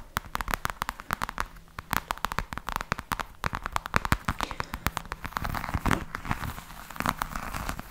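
Long nails scratch and tap close to the mic on a black, glossy, croc-embossed faux leather hard case with a hollow hard shell. The result is a rapid, irregular stream of sharp, dry clicks and crackly scrapes with no ring, with brief rougher scratching bursts near the end.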